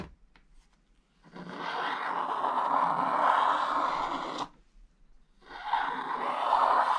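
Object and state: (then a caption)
Scratch-art paper page being scraped. A wooden stylus scrapes the remaining black coating near the edges of a thin, flat, black-coated scratch-art page in an open book, leaving scraped flakes gathered around the page. Two sustained, gritty scraping strokes are heard, a long one followed by a brief pause and a second one, with a raspy midrange hiss centered around 900 Hz.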